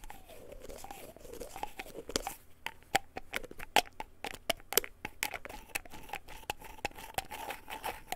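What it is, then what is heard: Plastic pill bottle. A small white plastic pill bottle with a white cap is held in both hands while fingertips and nails scratch and tap the cap and body. Soft, continuous scratching runs under many sharp, bright clicks and taps that decay almost instantly. A faint tone wavers in the mid range.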